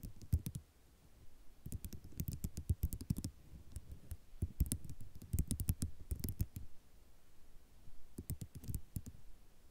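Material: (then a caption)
Ceramic. Long nail tips click and tap across a flat sheet of small white ceramic mosaic tiles. Sharp, bright clicks with a soft low body come in quick bursts separated by short quiet pauses.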